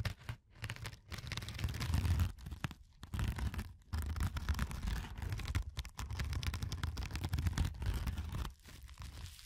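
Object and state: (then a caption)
Foam sponge being scratched. A fingertip scratches and presses into the textured surface of a yellow porous foam sponge, making dense, dry crinkling and tearing-like scratches. The sound is mostly low and rumbling with a little bright grit, and the scratching comes in bursts broken by a few short pauses.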